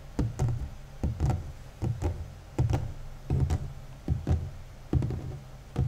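Fingertips and short nails of both hands tap and scratch the large, flat, hollow cardboard lid of a 1000-piece Jan van Haasteren jigsaw puzzle box lying on top of the assembled puzzle. Quick double taps land in loosely spaced pairs, giving deep, hollow thuds with a short ring and faint dry scratches in between.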